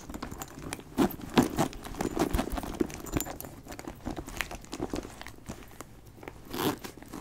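A brown leather backpack with a flap and ring hardware is turned and handled while fingernails tap and scratch the leather and the clasp. The result is a steady run of soft, dry crinkles and crunchy taps, with a few louder clicks standing out near the start and near the end.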